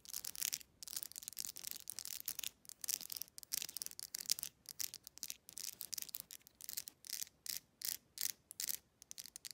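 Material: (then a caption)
Plastic. Long nails strum and scratch along the teeth of a black plastic wide-tooth comb. The result is a quick run of bright, raspy scraping bursts that come in short clusters with brief gaps, almost all high-pitched, with no low end.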